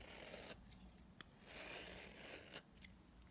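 A utility knife blade scrapes along a solid, very dry blue bar of soap held in the hand, shaving off powdery dry flakes. The sound is a quiet, bright, crackly rasp that comes in sweeps, broken by a few short, sharp ticks as the blade catches and breaks free.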